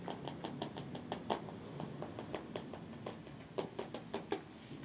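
A large blue painted steel car body panel, a hood or door of hollow sheet metal, is knocked and tapped with knuckles and fingertips. A steady series of short, dull knocks and lighter taps is heard, each dying away almost at once with a mid-pitched, slightly hollow tone over a faint low background hum.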